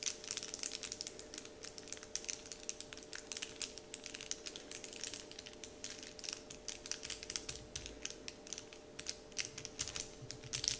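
Fingertips and short painted nails scratch and crinkle a large, flat, heart-shaped "Dove" printed wrapper sheet lying on a wooden table. The result is a dense run of bright, crisp crackles and quick ticking scratches that fade almost instantly. Behind them runs a faint, steady mid-range hum.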